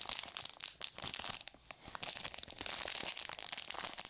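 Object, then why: Plastic and paper glove pouch. A flat, thin, hand-sized sterile surgical glove pouch with a clear plastic front, a paper back and gloves inside is held in both hands near the mic and squeezed and crinkled with long nails and fingertips. The result is a dense run of close, bright crinkles and sharp crackles, almost all high-pitched, with very little low end. A brief quieter dip falls in the middle.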